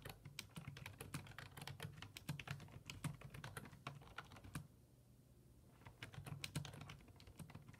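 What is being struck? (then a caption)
Plastic computer keyboard. Fingertips type rapidly on a black plastic full-size desktop keyboard with low-profile keys resting on a wooden desk. The result is a dense run of short, bright, dry clicks over a steady low hum. The typing pauses briefly near the middle, then resumes.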